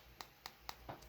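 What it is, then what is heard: Plastic car emblem. The original plastic rear emblem from a Mini Cooper R56 is handled and tapped, giving four quiet, dry clicks with no ring. Its light, hollow tap marks it as plastic, unlike the metal replacement emblem.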